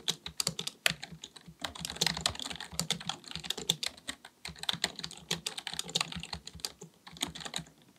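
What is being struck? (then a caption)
Plastic computer keyboard. Fingertips of both hands type rapidly on a black full-size plastic computer keyboard resting on a desk. Bright, clicky key taps come in quick uneven bursts with brief pauses and little low end. Each tap stops sharply with no ring.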